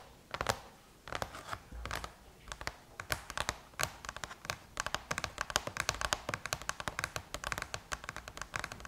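Long chrome-painted nails tap rapidly on the closed silver aluminum lid of a MacBook. They make a dense run of short, sharp, bright clicks that stop almost instantly, with a few scratchy strokes early on. The tapping speeds up into a quick, steady patter.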